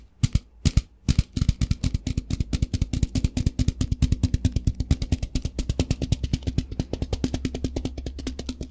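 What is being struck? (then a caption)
Plastic tub of rice. A translucent plastic tub with a lid, about half full of rice, is held in the hands, shaken and tapped with fingertips. It makes a quick, uneven run of short, dull, low-pitched thumps with the rice faintly rattling inside. The taps start sparse and then come in a steady, fast stream.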